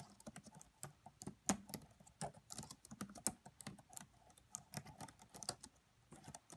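Fingertips with medium-length nails type softly on the black plastic keys of a red laptop's keyboard. A quiet, steady run of short, bright clicky taps follows, each with a low thock underneath and almost no ring.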